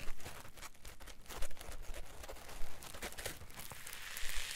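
A solid green polyethylene foam block is held, squeezed with the fingertips and thumbs, and rubbed across its surface. This produces soft, continuous crinkling and squeaky scratching with a few louder squeezes over a low rumble.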